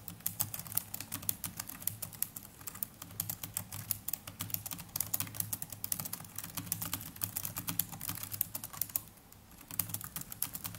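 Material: Plastic.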